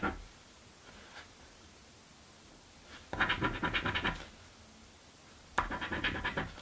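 A coin edge scratches a thin, flat cardboard crossword scratch-off lottery ticket resting on a wooden table. After a faint scrape and a quiet stretch, two bursts of quick, rasping back-and-forth strokes are heard, bright and papery with a slight tap of the coin against the table beneath.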